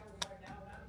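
Freshly fried, breaded chicken nuggets stuffed with buffalo dip are tested for how crispy their coating is, giving a single sharp, bright crunchy tick that dies away almost instantly over a quiet background. The crisp coating sounds right, and the nuggets are judged to be great.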